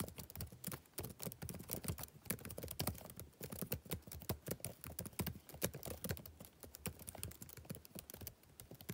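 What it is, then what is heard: Plastic laptop keyboard being typed on. Fingertips type rapid taps on the backlit plastic keys of a laptop keyboard. A dense, steady stream of short, dry clicks and soft thuds carries most of its weight in the low range, with each tap dying away almost instantly.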